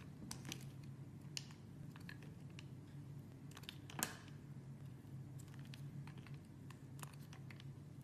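A metal blade scrapes across a small, solid, square block of translucent purple soap held in the fingers, shaving thin curled layers off its surface. Quiet, crisp scraping ticks and brief bright clicks sound over a steady low hum, with a sharper crackle near the middle.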